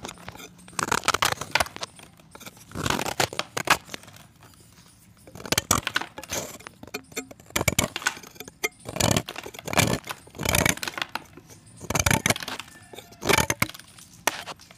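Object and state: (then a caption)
Pressed chalk disc being scraped. A solid white pressed chalk disc, held in the fingertips, is scraped and cut with a box-cutter blade while crumbs fall into the pan. Short bursts of dry, bright scraping and crunching repeat through the clip, with brief quiet gaps between strokes.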